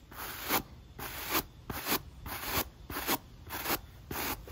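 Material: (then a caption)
Rubber. A black textured rubber sneaker outsole, held in hand, is scrubbed with a pale natural-bristle brush. Seven dry, scratchy brushing strokes come at an uneven pace, each a bright rasping burst separated by quieter rustle.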